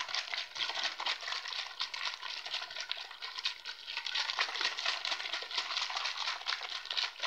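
A mostly empty, clear, hollow PET water bottle with a red cap is squeezed and crinkled by hands while fingertips tap the thin plastic. The result is a steady, dense stream of bright crinkling clicks and crackles, mostly high in pitch with almost no low end.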